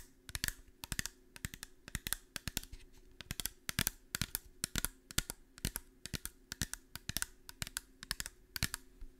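A small, clear, seemingly empty glass bottle held in one hand is tapped and scratched with long painted nails. Rapid, bright, clicking taps come in uneven bursts, with faint scratching between them over a low, steady hum.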